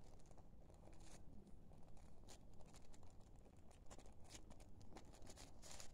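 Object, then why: Thin paper sheet. A small, thin sheet of paper, folded in half and held in both hands, is folded, rubbed and crinkled by the fingertips throughout. The result is a quiet, continuous rustling with scattered bright, crisp crackles over a low, steady rumble.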